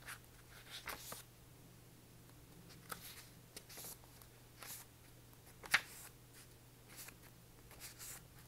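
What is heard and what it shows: A small paperback copy of "Existentialism is a Humanism," with a light card cover and a solid stack of paper pages, is held in one hand and tapped on the cover with the fingertips while its pages are partly fanned. Soft, dry, bright taps and faint papery rustles are scattered over a quiet, steady low hum, with one sharper tap standing out near the end.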